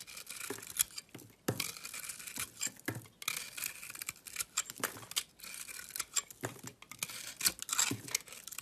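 A blade shaves the textured blue coating off a solid oval bar of white soap held in hand, exposing the white soap underneath. The sound is a run of crisp, bright scraping and crackling strokes, each with a quick sharp onset and almost no ring.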